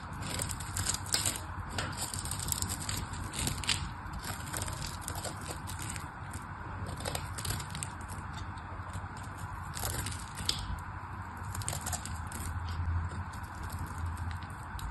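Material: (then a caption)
Soap. A small black knife shaves a solid pink bar of soap into curls and flakes, making a continuous run of crisp, crackly scraping strokes with bright, high edges. A steady low hum sits underneath the whole time.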